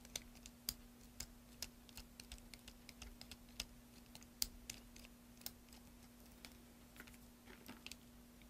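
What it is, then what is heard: Soap bar being carved. A solid green soap bar held in the hand is scraped and carved with a metal carving tool, making a string of quiet, irregular, crisp and bright cutting clicks and scrapes. A faint steady low hum runs underneath throughout.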